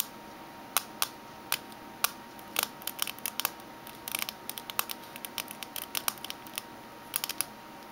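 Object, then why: Small metal mint tin. Long fingernails of both hands tap the base and rim of a small, closed, hollow oval metal mint tin lying upside down on a red table, its silver base and barcode label facing up. The taps are sharp, bright clicks in an irregular rhythm, sometimes in quick clusters, each dying away almost instantly. A faint steady tone sits underneath.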